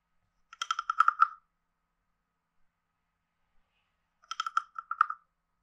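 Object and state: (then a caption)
Wooden frog guiro. A hand-sized, carved, hollow wooden frog guiro with a ridged back is tapped on its body with a wooden stick. Two short bursts of quick, dry, hollow clicks sound about three seconds apart, each with a woody tone near 1.3 kHz and bright overtones. Every tap dies away almost at once.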